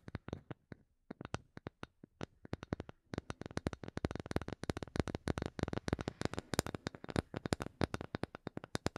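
A small, solid, light wooden block held in both hands is tapped with long painted nails. Sparse, sharp, dry clicks over the first three seconds give way to rapid, dense tapping. Each tap is short and woody with no ring.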